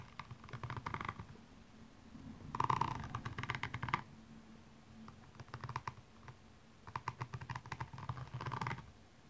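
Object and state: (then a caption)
Rhinestone-covered shoe scratched. The pointed tip of a makeup brush handle scratches across the small rhinestones covering a single blue high heel, which lies hollow and empty on its side. Four bursts of rapid, dry clicking and ticking sound, each a flurry of tiny taps with a bright edge over a faint low hum, separated by short quiet gaps.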